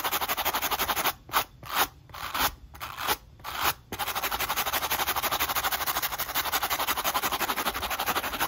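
A black running shoe held in hand has its rubber outsole and foam midsole scrubbed fast with a wooden-handled wire brush. Dense, bright, rasping strokes repeat rapidly, then break into a few slower, separate scrapes before the quick, steady scrubbing resumes to the end.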